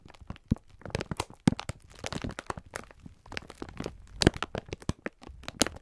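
A clear plastic-film pack of sponge scourers is held in both hands while the fingertips squeeze and rub it. Dense, dry crinkling and crackling of the plastic fills the clip, with sharp snaps standing out in bursts that reach up into bright highs over a low thumping body.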